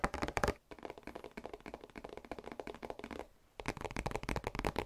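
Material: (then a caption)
Cardboard. A hollow, flat printed cardboard product box held in both hands is tapped rapidly with the fingertips and nails on its faces and edges. It makes dense, dry, hollow taps with short, clicky nail hits. A loud opening burst softens into lighter tapping, then after a brief pause the louder tapping returns.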